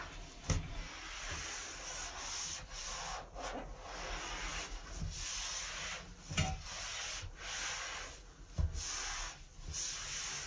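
A hand holding an orange and white sponge scrubs across the floor of a large, hollow, empty white ceramic basin sink with a metal drain plug. Steady, broad, hissing rubbing strokes with short pauses between them are punctuated by occasional louder, dull low thumps.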